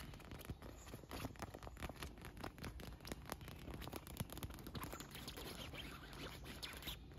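Fingernails tap and scratch a large inflated pink and yellow PVC beach ball, air-filled and wet with droplets. The result is a quiet, steady run of quick, dry taps and scratchy clicks over a soft, hollow low thump.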